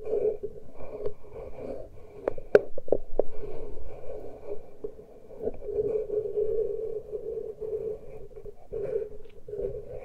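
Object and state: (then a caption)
Fingertips and nails scratching metal microphone capsules. Fingertips and long nails gently scratch and touch the exposed metal microphone capsules of a Tascam handheld recorder, with no cover on. Close, continuous scratchy rustling sits around a steady mid-low tone near 420 Hz. A few sharper clicks and taps stand out around the 2.5 to 3 second mark.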